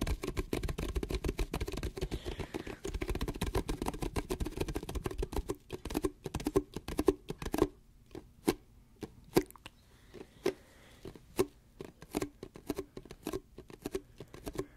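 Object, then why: Plastic cup with lid and straw, partly full. Long painted nails tap and scratch the sides of a clear plastic Dunkin' Donuts cup with a lid and orange straw, held in both hands and partly full of a dark iced drink. For the first half there is a dense, rapid patter of scratching and tapping, which then thins into separate, quick, hollow plastic clicks with a mid-low tone around 390 Hz. Each tap dies almost at once.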